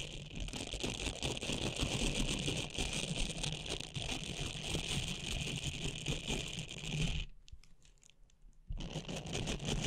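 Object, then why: Silicone scrubber pad with soft nubs. Long painted nails scratch and flick across the soft bristle nubs of a small, flexible blue silicone scrubbing pad held in both hands just above the microphone. The result is a dense, continuous crackling scratch with a bright hiss and a low rumble underneath. Near the end the sound briefly drops to near silence before the scratching resumes.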